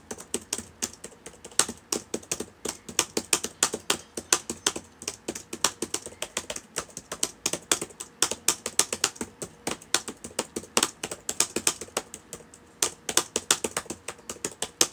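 Fingertips of both hands type steadily on the plastic keys of a black laptop with a hollow body, sitting open on a table. Dozens of quick, bright clicks and taps come in an uneven flowing rhythm, each dying away almost instantly with very little low-end weight.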